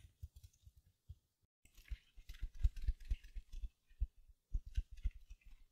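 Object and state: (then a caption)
Mesh-covered foam sponge. A small silver glitter mesh-covered foam sponge, held in both hands, is scratched with long nails and squeezed. Quiet, soft low thuds and scratches come in quick bursts, with a brighter crinkly rustle rising over them in the middle and near the end.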